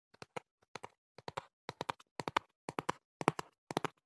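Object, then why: Printed cardboard box. Fingertips and nails tap the back panel of a hollow printed cardboard box held by hand, giving 21 quiet, dry taps in quick clusters of two or three. Each tap is a short, hollow knock with a mid-range body, a little bright edge, and almost no ring.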